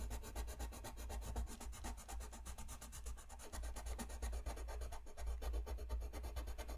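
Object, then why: Colored pencil rubbing on a paper sheet. A brown colored pencil tip rubs across a thin white paper coloring sheet lying flat on a desk in fast, repeated shading strokes. The result is a steady, rapid, raspy scratching with a quick back-and-forth rhythm over a low rumble, and it stays fairly even throughout.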